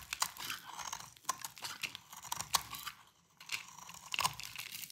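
A solid rectangular bar of dry cream-white soap is shaved with a metal utility blade held in the fingers. Crisp, bright scraping and crunching strokes follow one another rapidly, each with a dry crackle and almost no ring. There is a brief lull near the middle before the shaving resumes.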